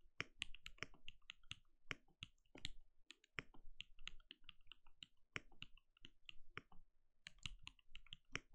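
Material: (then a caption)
Plastic. A compact RGB-lit mechanical keyboard with a translucent plastic case and plastic keycaps sits on a desk and is typed on steadily with the bare fingertips of both hands. It gives a quick, uneven run of short, dry keystroke clicks, each pairing a low thud with a bright plastic clack that dies away almost instantly.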